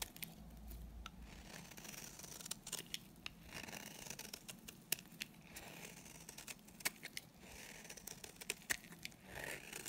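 A solid, dry white bar of soap held in the hand is shaved with a utility knife blade into flaky curls. Bright, crisp scraping and crackling strokes come in quick irregular bursts, with sharp clicks as the curls break away.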